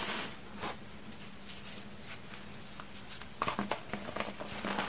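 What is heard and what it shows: Small solid chalky chunks of baking soda and cornstarch are crushed between fingers with long red nails over a pile of powder. Soft crumbly patter and faint rustling in a quiet, close space give way to a cluster of sharper, brighter crunching bursts near the end, with a low steady hum underneath.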